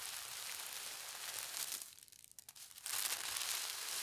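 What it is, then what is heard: Tissue paper sheet being rubbed. Fingertips with long red nails slowly rub and smooth a thin, translucent polka dot tissue paper sheet lying flat on a table. The result is a soft, steady, bright crinkling rustle that briefly fades quieter around the middle, then returns slightly louder.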